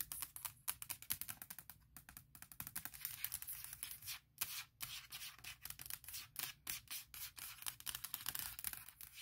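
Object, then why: Aluminum laptop lid. Long nails tap and scratch quickly across the flat aluminum lid of a MacBook Pro laptop. The result is a dense run of crisp, bright clicks and scraping strokes, mostly high in tone, with very little low end and almost no ring after each touch.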